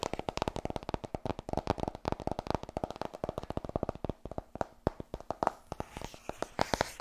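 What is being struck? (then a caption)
Paperback book with card cover. Long nails tap rapidly on a white softcover book, "Vertrouw me, ik ben verkoper," which is solid. About fifty quick, dry clicks with a papery thud around 700 Hz land in a dense, uneven rhythm, each dying away almost instantly. The last second turns slightly brighter.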